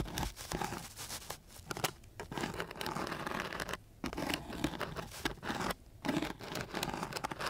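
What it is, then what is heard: Sandpaper sheet scraped. A flat wooden stick is scraped back and forth across the grit of a coarse sheet of sandpaper. It makes a dense, dry, broadband rasping scratch of rapid gritty strokes, with brief pauses near the 4- and 6-second marks.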